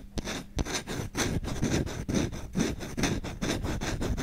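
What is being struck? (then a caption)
Wooden kitchen spoon. A solid wooden kitchen spoon with visible grain is held in the hand while its bowl is scratched quickly with short fingernails and fingertips. The result is a fast, fairly steady run of dry, raspy scratching strokes, roughly two per second, each a brief broadband rasp with a bright hiss on top and a soft low-end body.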